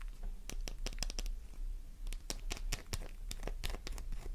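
A solid pink soap bar with crosshatched scratch marks is scratched rapidly with long nails, sending flakes flying. A quick series of sharp, dry scratching and crackling bursts repeats over a steady low hum. Each burst carries bright high detail and cuts off almost at once.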